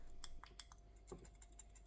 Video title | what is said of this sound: Burson Conductor GT4 Review & Unboxing | They rattle a bit when you shake it.